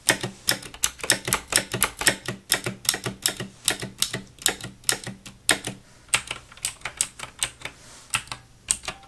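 Fingertips with long nails type on a black Razer full-size mechanical gaming keyboard with plastic keycaps resting on a wooden desk. About forty quick, bright plastic clicks and clacks land in an uneven rhythm, each dying away almost instantly, with a faint low thump beneath the strokes.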